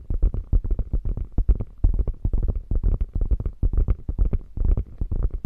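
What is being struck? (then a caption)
Quilted faux leather bag with padded body. Long fingernails scratch rapidly across the quilting of a beige quilted faux leather bag with a padded, hollow body. The result is a dense, irregular run of short, muffled, low thumping scrapes with almost no bright content.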